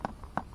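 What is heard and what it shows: A finger flicks a jackfruit picked up from the ground to check its ripeness, producing two sharp flicks and a softer one in between. Each is a short, dull, hollow thud with low-mid body and no brightness, dying away almost at once. The fruit, already judged ripe by its smell, is confirmed ripe by the flicking.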